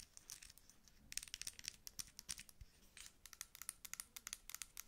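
A dark plastic cosmetic pump lotion bottle with a white label and pump top is held in both hands and turned while long acrylic nails tap and scratch it. A rapid, uneven string of crisp, bright clicks and scratchy crinkling strokes follows, with almost no low end and each tap dying away instantly.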